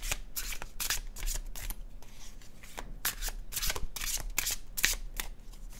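An illustrated paper cardstock tarot deck is shuffled by fingertips, the cards sliding over each other. The result is a run of quick, bright, papery swishes and crisp flicks that die away fast, over a faint steady low rumble.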